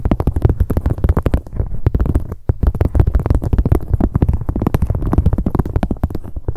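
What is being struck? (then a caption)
Leather handbag tapped with long fingernails. Long acrylic nails rapidly tap and scratch the front of a medium, hollow black leather handbag. The result is a dense run of dull, low, thumping taps with a soft scratchy texture, each one dying away almost instantly, with a brief pause near the middle.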